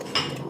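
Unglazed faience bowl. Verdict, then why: Cracked. A biscuit (unglazed, unfired-decoration) faience bowl is tapped once in a resonance test, giving a short, bright clink over a low background hum that dies away quickly instead of ringing on. The lack of ring shows the bowl is cracked, so it will not be decorated, since firing at 1080° would widen the crack.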